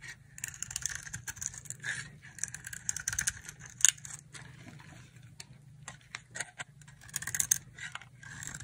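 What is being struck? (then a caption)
Bar of dry soap scraped with a knife blade. A utility knife blade scrapes and shaves a solid, palm-sized, oval green bar of dry soap into thin curls. Crisp, bright scratchy strokes come in uneven bursts with short pauses between them, over a faint low hum.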